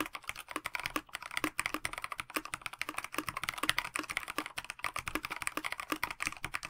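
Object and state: Mechanical keyboard with plastic case and PBT keycaps.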